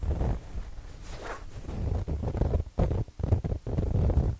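A soft, stuffed square throw pillow with a printed fabric cover is held in both hands close to binaural microphones and scratched across the cover with fingertips and nails. The result is a muffled, bass-heavy rustling and scraping that comes in uneven bursts with brief quiet gaps.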